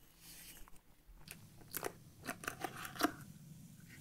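Fingernails scratch along the ribbed black plastic lid of a partly full glass coffee jar turned on its side and held close. The result is a quiet, dry, rasping, filing-like sound with about six short bright scrapes in quick succession.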